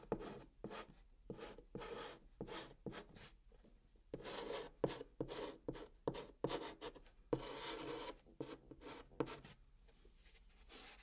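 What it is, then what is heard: Chalk scraping on cardboard. A white chalk stick writes Korean text on the flat brown top of a cardboard box, scratching the cardboard. Quiet, dry, broadband scraping comes in short strokes and a few longer drawn strokes, centered in the midrange with some bright grit. There is little low end and no ringing after each stroke.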